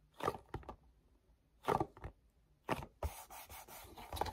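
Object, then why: Small paperboard box. Fingertips rub and grip a small, hollow, printed paperboard mochi box, first on the back label side and then on the front. Short papery scraping bursts come in separate clusters, then give way to a steadier, brighter rubbing texture for the last second and a half.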